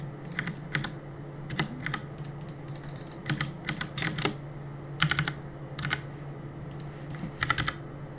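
Fingertips press and tap the plastic keycaps of a black plastic CM Storm mechanical keyboard on a desk while gaming. Irregular bursts of sharp, bright clicks and clacks come in quick clusters with brief pauses between them, each keystroke dying away almost instantly. A steady low hum runs underneath throughout.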